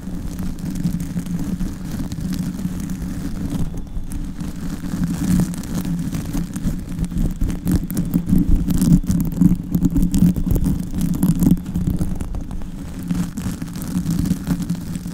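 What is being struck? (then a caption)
Foam microphone windscreen. Long white acrylic nails on both hands scratch and squeeze a small, soft, hollow black foam windscreen on a microphone head throughout. The result is a continuous, muffled, low rumbling scrunch with dense, irregular rustling crackles, sitting almost entirely in the bass with little bright content. It grows somewhat louder and busier in the middle before easing slightly toward the end.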